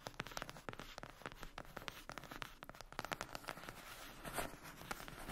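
Long acrylic nails scratch and tap a closed, flat rectangular cardboard eyeshadow palette lying on a fluffy blanket. The result is a quiet, dense stream of dry scratches and short, crisp taps with a papery, mid-pitched tone around 1.3 kHz and some high hiss. Each tap dies away almost instantly.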